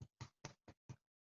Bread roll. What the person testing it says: it's got a hollow sound but it sounds slightly live here anyway it sounds slightly dense